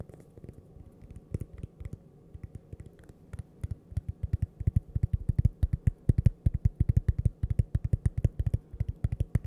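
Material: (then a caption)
Cork. A fingernail taps on toaster-shaped cork coasters, making soft, dull, low-pitched taps with almost no ring. The tapping starts sparse and gentle, then becomes a rapid, steady run of closely spaced taps in the second half.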